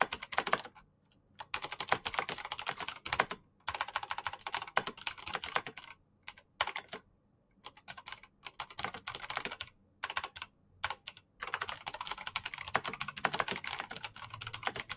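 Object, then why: Plastic mechanical keyboard. Both hands type fast with fingertips and short nails on a full-size black plastic Razer BlackWidow mechanical keyboard with green clicky switches, backlit keycaps and a hollow housing. Bright, sharp key clicks come in rapid bursts, separated by short pauses.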